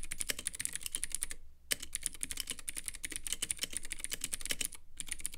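A compact Womier K66 mechanical keyboard with clicky Gateron Blue switches, white plastic keycaps and a clear lit acrylic case is typed on continuously with the fingertips of both hands. The result is a rapid stream of sharp, bright clicks with very short decay over a low hum, broken by two brief pauses.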